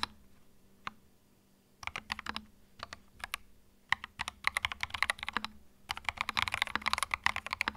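Fingertips type on a small white 65% mechanical keyboard with plastic keycaps and a hollow plastic case, resting on a felt mat. A few isolated key clicks give way to bursts of fast, bright, clacky typing centered around 1.9 kHz, each stroke short with almost no ring. A faint low hum sits underneath.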